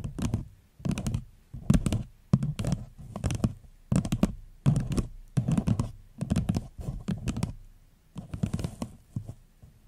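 Long fingernails tap a small, hollow, empty floral paper cup turned upside down, in quick bursts of rapid clicks. Each tap gives a dull, low, hollow thunk that dies away almost at once, with short pauses between the clusters.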